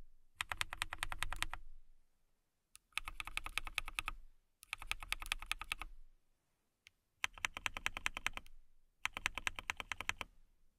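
A clear acrylic mechanical keyboard with clear plastic keycaps and RGB lights is typed on with long nails. Five bursts of rapid, bright, clicky keystrokes are heard, separated by short pauses, with a single isolated tap in two of the gaps. Each keystroke is crisp and dies away almost instantly, with a low thump under the clicks.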